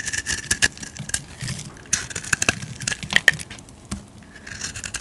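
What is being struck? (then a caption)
Solid bar soap cut with a metal blade. A solid rectangular blue bar of soap is carved into shavings with a metal blade. The result is a rapid series of dry, crisp scraping and cutting sounds, bright and high-pitched, with short sharp clicks that die away almost instantly and little low-end body.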